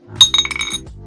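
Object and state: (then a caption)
Treated die with a dull-sounding face that stops quickly. Plastic dice, one with a face treated with liquid to make it a dull-sounding die, are shaken against a plate while listening for the number 6. Bright, glassy clinks and rattles sound in a quick cluster with a short ring, and the treated die stops quickly.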